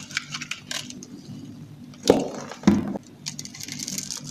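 A small metal knife scrapes and cuts a dry, solid, palm-sized lavender soap bar that is pre-scored into a grid, so the cubes crumble off. Light, bright crackling scrapes run throughout, broken by two louder, fuller crunches near the middle as pieces break away.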